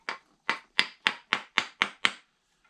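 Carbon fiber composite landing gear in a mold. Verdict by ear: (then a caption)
Loose. Eight short, bright taps on a carbon fiber composite landing gear still in its mold, each dry and quickly decaying with most energy around 2 kHz. The tone changes as the part starts coming loose from the mold, and once released it shows no pin holes.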